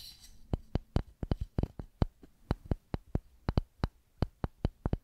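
Long pink nails tap the face of a flat, solid, light wooden paddle with a handle and a white label, and at the end fingertips tap its edge. About twenty quiet, sharp, dry taps come in an uneven rhythm. Each is a brief bright click with a faint low knock and no ring.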